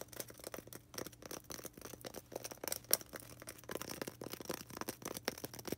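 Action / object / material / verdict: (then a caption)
scrape / polystyrene foam ball / polystyrene foam / none. Long red nails scratch fast across a small, solid white polystyrene foam ball. The result is a quiet, dense run of quick, bright, dry scraping strokes, with a few sharper squeaky peaks and a faint low hum underneath.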